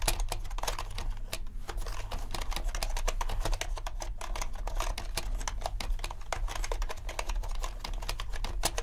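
Both hands type with their fingertips on a compact mechanical keyboard with black and white plastic keycaps. A steady stream of quick, short clacks with bright edges runs without pause over a constant low hum.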